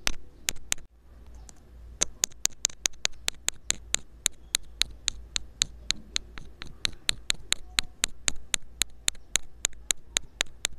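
A thin metal pick scrapes along a small black rubber-coated inline earphone microphone taped to a table, producing about 38 sharp, bright clicks in a steady rhythm. Each click is very brief and dry, with soft scratchy texture between strokes over a constant low hum.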